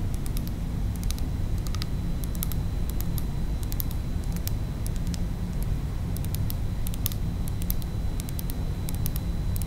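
A small, heavy pink glass Versace Bright Crystal perfume bottle with a faceted glass cap is held and tilted in the hands while long acrylic nails tap on the glass. Quick, bright clicks come in scattered clusters throughout, over a steady low hum that carries almost all of the sound.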